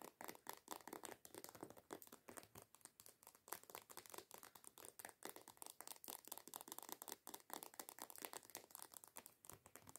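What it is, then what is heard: Plastic lotion bottle. A white plastic body lotion bottle with a coconut label, lying down and apparently filled, is scratched and tapped with long nails. Quick, dry, crinkly taps and scratches come in a steady run with almost no low end and very short ring.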